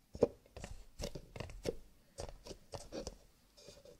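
Fingertips rapidly tap on cardboard paper cups, with a little light scratching. The result is a quick, dry, clicky patter, like typing, with a hollow mid-pitched tone around 480 Hz and each tap dying away almost instantly.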